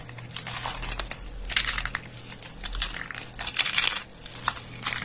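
Bare fingers and palm squeeze and crush handfuls from a pile of thin, brittle, dry soap curls. Dense, bright crackling and crunching comes in irregular bursts over a faint low hum. The chips crackle and break apart under the grip.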